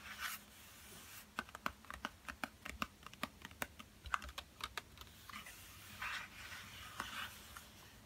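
A yellow Crayola cardboard pencil box, hollow, full of pencils and lying flat, is tapped with fingertips in a quick run of sharp, dry clicks centred around 1.2 kHz. This is followed by soft scratchy rustling as it is handled at the open end.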